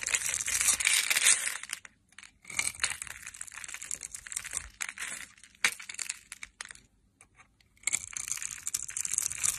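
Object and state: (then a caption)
Bar soap being scraped. A hand-sized, solid brownish bar of soap, pre-scored in a grid and held in the hand, is scraped and crushed with a metal knife blade, breaking off crumbs. Dense, bright, crunchy scraping and crumbling comes in bursts of rapid crackles. It pauses briefly near 2 seconds and again around 7 seconds before the crushing picks back up.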